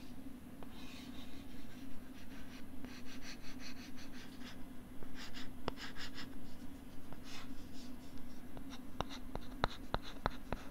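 A stylus writes and scratches across a pink plastic LCD writing tablet held close to the mic, making bursts of soft, bright scraping strokes over a steady low hum. Toward the end, a run of sharp, dry taps clicks against the plastic surface.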